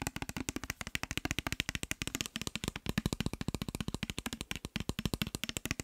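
Fingernails and fingertips rapidly tap a clear glass bottle with a white cap, partly filled with orange liquid. About 55 quick, dry, clicking taps in a steady stream, each bright and very short with almost no ring, over a low thump.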